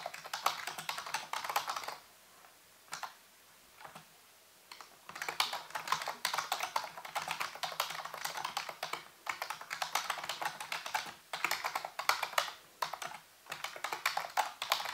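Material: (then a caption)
Plastic. Fingertips and nails type and tap on the keys of a full-size black plastic computer keyboard with a hollow housing. Rapid, bright plastic clicks come in dense bursts with short quiet pauses, the longest around two to five seconds in.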